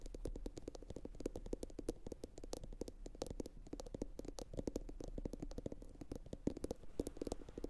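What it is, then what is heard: Ceramic bowl tapped with fingernails. A medium, hollow, empty blue glossy bowl, likely ceramic, is turned upside down and tapped rapidly with long pointed acrylic nails from both hands. It produces a dense, continuous stream of short, sharp clicks with a faint hollow tone around 277 Hz and a steady low rumble underneath. Each tap dies away almost instantly.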